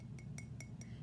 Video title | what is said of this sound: Clay Plan | after it goes through the kiln it gets much lighter and kind of sounds like glass, or we call this ceramic